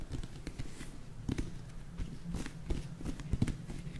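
Long nails tap and scratch the smooth, glossy purple-black skin of a whole raw eggplant, solid and medium sized, held close. Soft, dull taps land over a low, muffled rustle of scratching. Each tap dies away almost at once, with little bright content.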